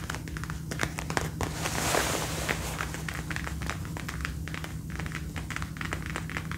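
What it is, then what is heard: Faux leather jacket. A dark brown faux leather jacket being worn is tapped and scratched on the shoulder and upper arm by fingertips and nails with the arms crossed. Quick, dry taps and scratchy crinkling rustles run throughout, with a brighter swishing scrape near the middle, all over a steady low hum.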